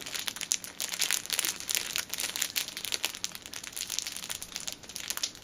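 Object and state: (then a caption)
Cellophane-wrapped tissue pack being crinkled. A six-pack of pocket tissues wrapped in clear cellophane film is held upright while both hands squeeze and crinkle it with long nails. The result is a dense, continuous run of bright, crackling plastic crinkles with sharp snaps and almost no low end.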